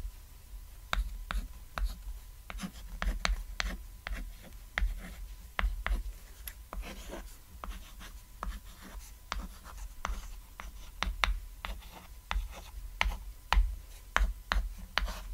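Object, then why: Chalk on a small chalkboard. White chalk held in fingertips writes the words "Comment + Like + Subscribe" on a flat, solid, cat-shaped black chalkboard resting on red fabric. Many quick, dry, scratchy chalk strokes and taps sound in bursts, each with a bright edge and almost no ring, over a steady low hum.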